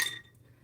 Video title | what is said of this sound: Soup Season: Chicken and Wild Rice Soup! LIVE! | You hear this? That's crisp.